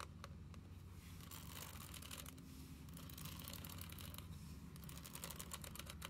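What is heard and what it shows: A small closed spiral-bound paper passport book with a glossy laminated card cover and a solid stack of pages is tapped and scratched across the cover by long nails, then lifted slightly at the end. Quick, dry clicks with bright scratchy texture sit over a steady low hum around 90 Hz.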